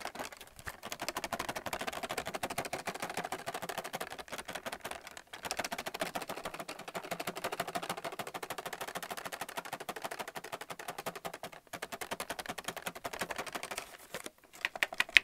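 Fingernails tap rapidly on white plastic paint palettes held up in a clear plastic blister pack. The result is a dense, continuous run of short, dry clicks with almost no ring and a bright, high-leaning tone. Brief pauses break the run, and a few louder taps land at the end.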